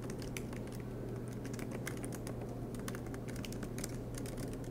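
Both hands type continuously with their fingertips on the black plastic low-profile keys of a MacBook Pro laptop with a silver aluminum body, resting on a green desk mat. Rapid, light key taps click over a steady low hum around 105 Hz.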